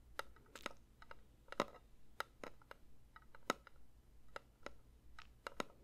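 A metal candle tin is lightly tapped with the fingers in a quick, irregular series of soft taps. Each tap gives a short, dull metallic tick with a faint ringing tone around 1.3 kHz that dies away almost at once, over a quiet low hum.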